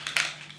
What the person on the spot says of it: you shake it up for about 15 seconds you can hear the ball in the bottom of it